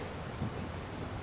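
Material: Nothing is struck.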